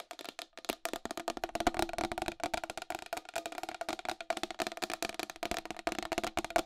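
Long acrylic nails tap fast on the side rim of a round white plastic wall clock with a hollow case. The result is a dense, rapid stream of short, clicky taps with a hollow tone around 711 Hz, bright edges and almost no low end, each tap dying away almost at once.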